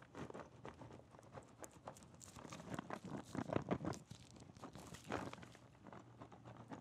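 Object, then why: Cardboard puzzle box in plastic shrink wrap. A shrink-wrapped cardboard Super Metroid puzzle box is turned in the hands and tapped with the fingertips. A steady run of soft, quick, dull taps mixes with light crinkling of the plastic wrap, with a few louder clusters.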